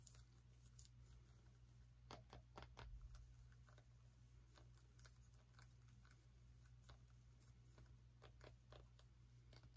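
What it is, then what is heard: Small pumpkin. Long nails tap and scratch a small orange pumpkin with a stem, making quiet, irregular, bright clicks and short scratchy strokes. A steady low hum runs underneath throughout.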